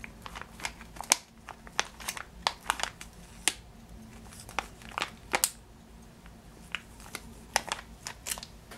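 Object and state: Plastic bag of sugared almonds.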